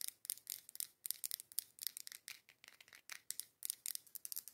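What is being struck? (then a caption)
Glass candle jar filled with wax. Long acrylic nails tap and scratch the curved side of a labeled, dark-green matte glass candle jar filled with candle wax. The result is quick, quiet bursts of bright, high clicking and scratching with no low end. Each tap stops dry, with no ring.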